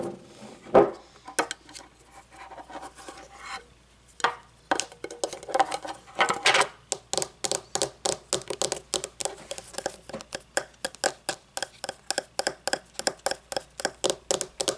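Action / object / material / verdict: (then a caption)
tap / small metal candle jar lid / metal / none. A small, hollow, round shiny metal candle jar lid is held and then placed on a wooden table while long nails scratch and tap its rim and top. Soft scratching and rubbing give way to a steady run of quick, bright metallic taps, each with a short hollow ring around 400 Hz.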